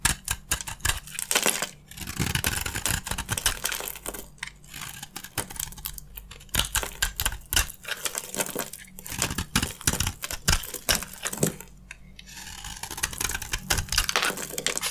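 A utility knife blade scrapes white flakes off a solid, palm-sized oval bar of white soap with a gold coating. Rapid, crisp scraping strokes come in dense bursts of bright, crunchy texture with brief pauses between passes.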